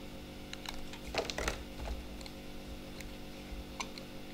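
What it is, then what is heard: Bar of soap being shaved. A utility knife with a snap-off blade shaves and scrapes the edge of a palm-sized, solid white speckled bar of soap held in one hand. Irregular, light crisp scrapes and ticks sound over a steady low hum, clustering into a brief flurry in the middle before thinning out to a few sparse clicks.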